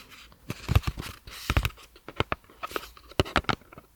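A paper cosmetics box is tapped and scratched, giving a quick series of short, dry taps mixed with soft papery scraping and crinkling. The taps die away almost instantly with no ring.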